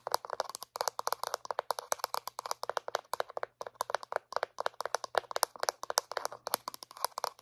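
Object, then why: Small hollow plastic dental floss case. Long painted nails tap rapidly on a small, hollow white plastic dental floss dispenser. The result is a quick, steady run of dozens of short, dry, clicky taps centered around 1 kHz, each one cutting off instantly with no ring.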